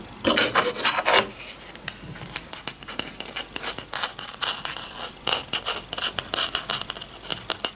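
A small, shallow, empty bamboo dish is held in one hand while the long painted nails of the other hand scratch and rub across its underside. The result is a dry, bright rasping texture of quick scratchy strokes, with fuller rubbing bursts near the start and a steady high whistling tone beneath the later scratches.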